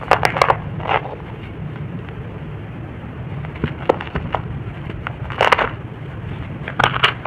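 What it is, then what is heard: Dry soil clump crumbling. A fist-sized chunk of dry red-brown soil mould is crushed by fingertips into powder that falls onto a soil heap. Bursts of dry crunching and crackling stand out over a steady low rustle, with the sharpest snaps near the start, around the middle, and at the end.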